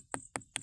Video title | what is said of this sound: वाजणारे दगड आणि निसर्ग संपन्न परिसर | दुसऱ्या दगडावर ट्राय केलं तर इथे आपल्याला आवाज हा येत नाही